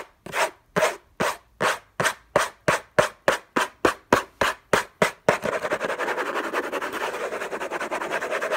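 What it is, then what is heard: Cardboard box being scratched. Fingertips and short nails scratch the lid of a long, rectangular, closed orange Hermès cardboard box, covered in textured paper with unknown contents, lying on a fluffy blanket. For about five seconds, separate rasping strokes come at an even pace, each a short bright scrape. The scratching then turns fast and continuous, becoming a dense, unbroken rasp.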